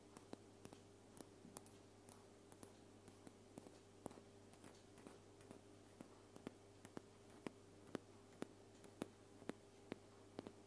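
A white aluminum aerosol spray can, a hollow metal cylinder held horizontally above the recorder, is tapped with long painted fingernails. Twenty-six quiet, short, dry clicks come at an uneven pace over a soft, steady low hum, each dying away almost at once.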